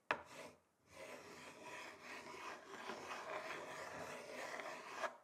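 The tips of two thin wooden sticks rub and scratch across the grain of a large, flat, solid wooden chopping board. A sharp tap and a short scrape are followed by a brief pause, then a steady, dry rasping scratch with a bright, hissy edge. A second sharp tap closes the sound.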